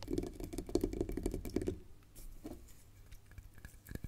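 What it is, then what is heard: Hollow bark-covered log section. Long painted nails scratch and tap the rough bark of a short, hand-sized hollow tree-trunk section, held or resting on a chessboard. A burst of quick, dense tapping with a hollow, woody mid-low tone fills the first couple of seconds, then the sound thins to quieter scratching and soft, scattered taps, with a few sharper clicks near the end.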